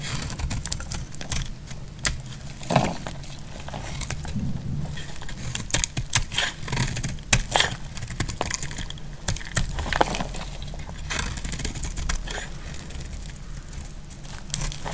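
A utility knife blade scrapes fine shavings off the surface of a solid, dry green soap bar. Dense, crisp scratching strokes with bright, papery edges repeat throughout, interrupted by sharper cuts, over a steady low hum.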